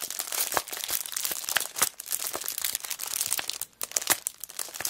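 A cellophane-wrapped kraft paper notebook is tilted in the hands while long black nails squeeze and crinkle the clear plastic wrapper. The result is a dense run of bright, crackly crinkles with quick sharp snaps and almost no low end. There is a brief near-silent gap before the crinkling resumes.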